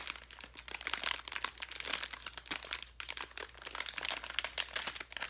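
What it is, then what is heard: Plastic bag of foam letters. A handheld clear plastic bag full of foam letters is crinkled and squeezed with the fingertips. It gives a continuous run of dense, bright crinkles and crackles with short, dry snaps and almost no low end.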